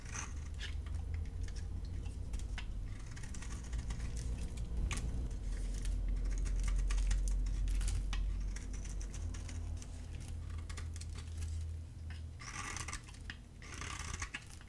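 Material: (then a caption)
Soap. A gold utility-knife blade repeatedly shaves a dry, black-dotted solid bar of soap with its pale inside exposed, peeling off curls. Quick, crisp scraping strokes sound over a steady low hum.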